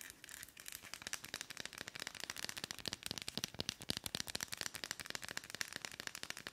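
Long almond-shaped nails tap and scratch the wooden back and fabric hand strap of a round, palm-sized, solid wooden (bamboo-like) dry body brush held in both hands. The result is a steady stream of dozens of quick, crisp, bright clicks and scratchy crackles with almost no low end. Each tap dies away instantly.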